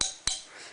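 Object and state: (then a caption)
Hollow-sounding knife handle scales. Two taps on the handle scales of a small Mini Griptilian folding knife make two bright, hollow, plasticky clicks, like tapping on Kydex, each fading quickly. The scales are not poor quality, but the sound makes them seem cheap and is not pleasant.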